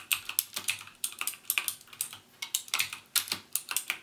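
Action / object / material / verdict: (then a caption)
tap / plastic mechanical keyboard with clicky switches / plastic / none. Fingertips type on a backlit plastic mechanical keyboard with plastic keycaps and Cherry MX Blue switches, pressing each key fully down. A quick, uneven stream of sharp, bright clicks is heard, with almost no low end and each click dying away almost instantly.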